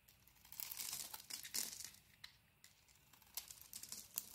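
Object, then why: Solid bar of soap shaved with a blade. A blade carves the surface off a beige Penaten solid bar of soap held in the hand, revealing its white interior. The sound is quiet, crisp scraping and crinkling, almost entirely high and bright with almost no low end. Soft shaving strokes are punctuated by sharper, irregular little cuts.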